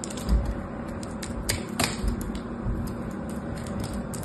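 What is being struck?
Solid bar soap.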